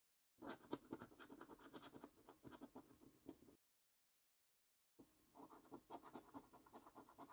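A coin scratches the silver scratch-off coating on a thin, flat paper £15 National Lottery "5x £300,000 Luxury Lines" scratch card. Quick, rasping scrape strokes come in a dense run, centred in the low-mid range with bright flecks on top. They stop for a silent gap of about a second and a half, then the scratching resumes.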